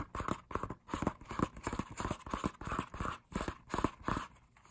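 Fingertips tap on the open, thin printed pages of a K-pop album's paper lyric booklet. The result is quick, irregular bursts of soft, dull papery taps with a low thump and a light midrange rustle, each dying away almost instantly.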